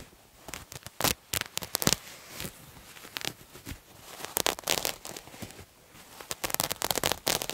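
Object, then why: Cotton terry cloth towel. A multicolored striped terry cloth towel, held upright, is scratched with fingernails. Quick, bright, crackly rasping strokes come in irregular clusters, with quieter pauses between bursts and little low end.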